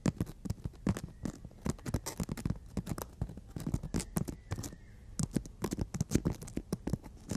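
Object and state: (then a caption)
Emery board nail file tapped and scratched. Long natural fingernails of both hands tap and scratch along a long, flat, solid emery board nail file. The result is a quiet, irregular run of quick, dry clicks and brief scratchy strokes with no ring after each one, most of the energy sitting low with a faint bright edge.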